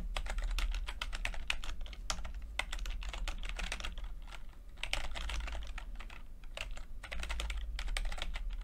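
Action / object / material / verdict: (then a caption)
tap / plastic computer keyboard / plastic / none. Fingertips tap the plastic keycaps of a backlit chiclet computer keyboard in steady typing, producing a rapid run of short, bright clicks with brief pauses. A steady low hum sits underneath the keystrokes throughout.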